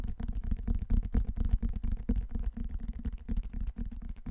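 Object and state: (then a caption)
Hardcover book. A large dark hardcover book with cardboard-and-paper covers, held upright in both hands, is tapped and scratched on its cover and spine by fingertips and nails. Quick, irregular, dull taps and scrapes follow one another closely, deep and muffled with almost no bright content and very short decay.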